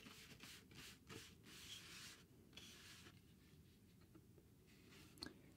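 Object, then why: Cardboard sheet. A thin, rectangular grey cardboard sheet is held in the hand and scratched or rubbed across its face. The clip is a quiet series of dry, bright, hissy rubbing strokes that swell and fade, with a soft low rumble beneath and one sharper scratch near the end.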